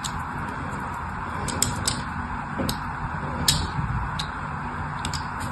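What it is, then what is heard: Bar soap being scored. A thin needle-like tool drags across a palm-sized, solid orange-and-white striped bar of soap held in one hand, scratching and scoring lines into it. Soft, steady scraping runs under a series of sharp, bright ticks as the point catches the surface.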